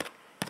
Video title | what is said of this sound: Can you bake bread in a Convection Oven? | if I tap it, it's got that hollow sound, which is what you want when you cook bread